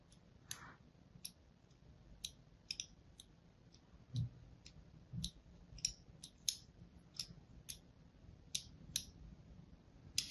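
A thin blade scores crosshatch lines into the surface of a solid pink and white striped bar of soap held in the hand. About sixteen light, sharp scratching clicks ring out, each bright and quickly gone, with quiet gaps between them. A faint low rumble sits underneath.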